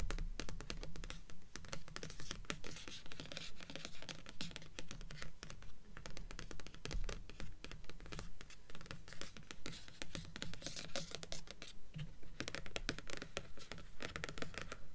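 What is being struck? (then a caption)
Stack of paperback books with cardstock covers. Long acrylic nails steadily scratch and tap the glossy cardstock top cover of a blue paperback, "Delirium," which sits on a stack of paperback books forming a solid paper block on a table. The result is a brisk, fairly regular run of dry, crisp scratches and clicky taps, about 140 per minute, each dying away almost at once over a soft, low thud.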